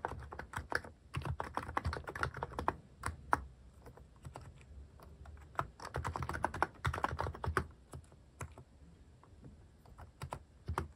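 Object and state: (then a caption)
Mechanical keyboard with plastic keycaps. Fingertips type on a mechanical keyboard fitted with plastic cat keycaps. Quick runs of short, dry keystroke clicks with a low, thocky body come in bursts separated by brief pauses, and each key sound dies away almost at once.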